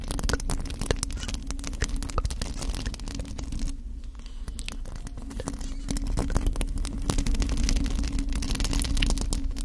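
Long acrylic nails scratch a hollow black metal mesh microphone head while both hands hold the grille. Dense, rapid scratchy crackles ride over a heavy low rumble and a steady low hum, easing briefly around the middle before building back up.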